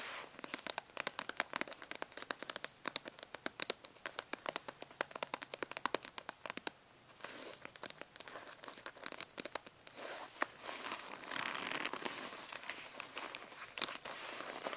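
Fingernails of both hands scratch quickly across a rolled, black, stitched faux-leather brush case with tie cords resting on carpet. The result is a quiet, bright, crackly stream of dry scratches with sharp clicks and almost no low end. It begins as distinct rapid ticks, then blurs into denser, more continuous rasping in the second half.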